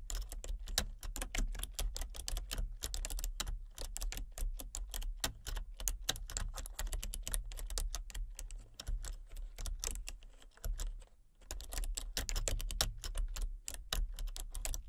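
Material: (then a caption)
Plastic. Fingertips and nails rapidly tap the keys of a full-size plastic computer keyboard with a colour-changing backlight. The result is a dense, steady stream of short, crisp clicks over a low hum. The typing pauses briefly around the eleventh second, then resumes at the same quick pace.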